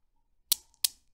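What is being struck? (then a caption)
Steel balls of a desk Newton's cradle. A hand with long dark nails grips and releases the solid steel balls of a desk Newton's cradle. The balls knock together in two sharp, bright clicks about a third of a second apart, each fading quickly with a faint ring.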